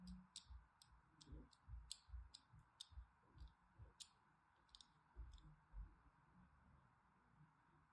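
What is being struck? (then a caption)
Solid bar soap scored with a thin blade. A thin blade scores dense parallel and crossing lines into a solid pink bar of soap, making quiet, irregular, sharp scratching clicks with bright crisp edges over soft low thuds. About eleven separate strokes stand out against a faint steady background, with a slight trace of music.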